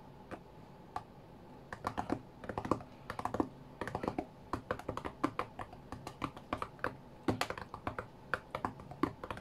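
Fingertips from both hands tap quickly on the glass touchscreen of a white iPad lying flat on a mat. The taps are short, dry and dull, with no ring, and come in irregular rapid bursts and flurries over a faint low background hum.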